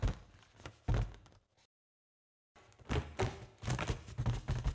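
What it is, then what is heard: Foil balloon tapped. Long acrylic nails tap and scratch a large, inflated white foil (mylar) balloon that is hollow and air-filled. Dull, low, hollow thumps mix with soft scratching, with a brief silence in the middle before the tapping resumes.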